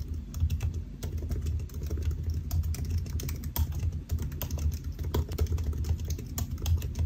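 Fingertips of both hands type steadily on the black plastic keys of a solid silver aluminium laptop resting on a white desk. The result is a rapid, continuous run of short, dry key taps with bright clicks. The taps sit over a steady low hum.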